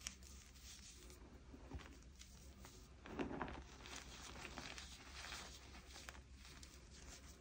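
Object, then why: Loose pile of crushed gym chalk. Two bare, chalk-covered hands press, rub and squeeze a large loose pile of crushed, dyed blue gym chalk, a mix of powder and small crumbly chunks, on a tabletop. The crushing gives quiet, grainy crunching and crinkling with soft bright rustles over a steady low background hum. A firmer squeeze partway through brings a short, louder burst of crunch.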